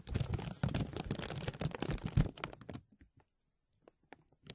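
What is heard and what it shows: A thin, clear, embossed plastic vacuum-seal bag stretched over a mesh microphone dome is tapped, pinched and crinkled by fingertips and nails. Dense, low, crackling crinkles fill the first three seconds, then thin out into a few scattered light taps and crackles separated by near-silence.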